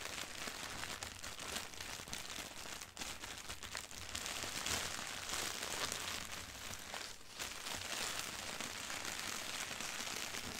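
A flat, thin white sheet of printed tissue wrapping paper lying on carpet is scratched and rubbed with both hands using long nails. This gives a dense, continuous, bright crinkling and rustling with fast irregular scratches. Brief dips in loudness come near the 3 and 7 second marks.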